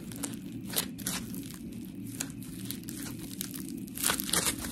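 A palm-sized, round, white, textured polymer foam scrub sponge with smiley cut-outs, solid, is squished and scratched with long pink nails. Gritty, crunchy scratching comes in irregular bright bursts, louder near the start and end, over a steady low hum.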